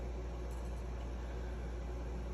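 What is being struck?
Nothing is struck.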